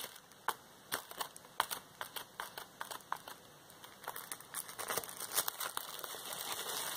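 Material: Plastic.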